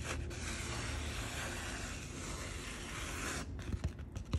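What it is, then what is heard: Sand painting card being rubbed. Long painted fingernails rub steadily across a postcard-sized sand painting card coated in fine coloured sand on a sticky backing, held in one hand, making a continuous dry, bright scratching hiss for about three and a half seconds. The rubbing then stops and gives way to a few short, soft pats on the sandy surface.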